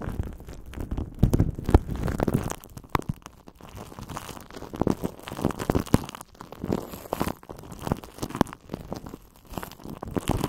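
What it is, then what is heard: Aluminum foil wrap being crinkled. Crumpled aluminum foil wrapped around a cylindrical shape is squeezed and crinkled by clasped hands and fingertips. The result is a steady stream of soft, dense crackles and crunches, weighted toward a low rumbling body, with a few louder bursts swelling and fading throughout.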